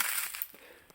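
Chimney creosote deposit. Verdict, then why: Burnt. Burnt creosote from a chimney is crushed, giving a brief, dry, crispy crackle with bright high-frequency hiss that fades within about a second. Its crispy texture shows the chimney has had a fire in the past.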